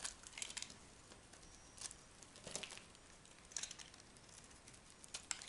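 A small metal knife scrapes and cuts a solid orange-and-white striped dry soap bar held in the hand, with shavings piling up below. Quiet, dry, bright crackling and crinkling scrapes come in short bursts with almost no ring, over a faint hiss.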